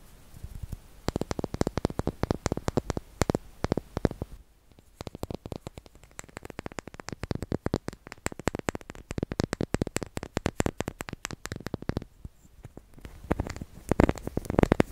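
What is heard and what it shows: A small solid white wax candle shaped like a ridged seashell is held close to the mic while fingertips and nails tap and scratch its ridged surface. The result is a rapid, dense run of short, dry clicks and taps with a soft scratchy texture, weighted toward low frequencies with almost no ring. Brief quieter stretches occur around 5 and 12 seconds before the tapping builds louder at the end.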